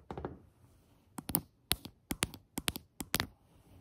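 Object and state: Solid glazed ceramic tile countertop.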